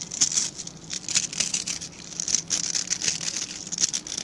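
Fingertips and nails scratch through the dense, dark synthetic bristles of a hand-sized plastic-backed scrub brush. The sound is a quick, dry, crackling scratch, almost entirely high and bright, with rapid bursts of sharp bristle flicks that die away instantly, over a faint low hum.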